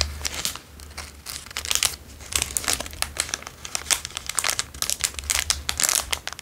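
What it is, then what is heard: Plastic chocolate bar wrapper. A small plastic Dairy Milk chocolate bar wrapper, apparently still holding the bar, is crinkled and rubbed by the fingertips of both hands. Dense, bright crackling crinkles come in quick, uneven bursts over a faint low hum, each crackle ending almost at once.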